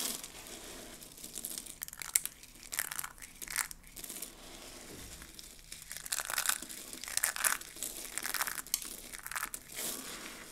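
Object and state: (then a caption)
Dry soap flakes being crushed. A pile of mixed pink, blue and white dry soap flakes is scooped and squeezed by hands with long nails. Repeated bright, crisp crinkling and crunching bursts rise and fade over a quiet background.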